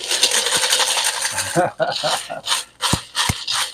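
A batch of homemade caramel corn is stirred with a microphone pushed down into it. A dense, bright crunching rattle of the crispy pieces comes first, then breaks into several separate bursts with short gaps. The corn sounds crisp.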